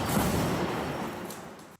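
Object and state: Nothing is struck.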